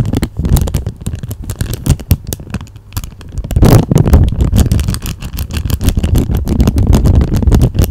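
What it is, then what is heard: Clear plastic sleeve. A thin, flat, empty clear plastic packaging sleeve is held in both hands with long manicured nails and crinkled close to a microphone. Dense, irregular crackles and brittle crinkles ride over a heavy low rumble, with a louder swell of crinkling midway before settling into steady, busy crackling.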